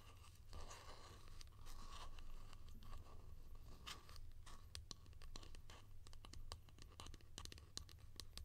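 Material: Plastic.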